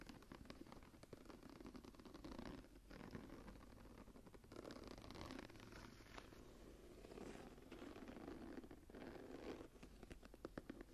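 Fingertips and long nails tap and scratch across the textured cover and woven border of a dark brown embossed leather journal held tilted. A steady, quiet stream of soft, dull taps blends with dry scratching and rustling, centered low in the midrange with little brightness. The sound continues evenly throughout with brief pauses.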